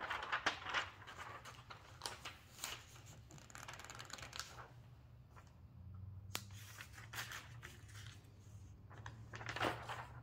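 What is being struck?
Glossy paper magazine.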